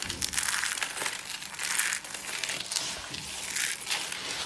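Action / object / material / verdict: scrape / soap flakes / soap / none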